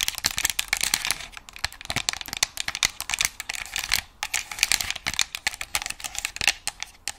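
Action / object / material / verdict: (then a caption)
tap / plastic game controller shell / plastic / none. Long nails tap and scratch the shell of a white and black plastic game controller held close to the microphone. A dense, rapid run of dry, bright clicks and scratchy rasps follows, with almost no low end and no ring after each tap.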